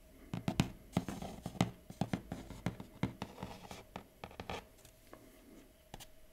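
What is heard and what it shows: Fingertips and nails tap and trace the printed keyboard drawing on the lid of a closed, hollow, large kraft cardboard box for a Huawei MateBook X Pro laptop. The result is a quick, uneven run of dull, hollow low taps that die away almost instantly, mixed with soft scratchy rubbing. The tapping thins out and grows quieter toward the end.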